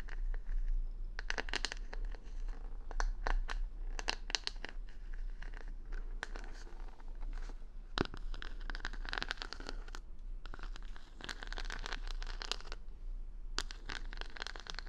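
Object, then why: Wooden hair brush with plastic rhinestone stickers. Long nails scratch across the plastic rhinestone stickers covering the back of a solid wooden paddle hair brush held in the hand. The result is a steady stream of crisp, bright scratching and crinkly clicking over a constant low rumble, with sharper bursts scattered throughout.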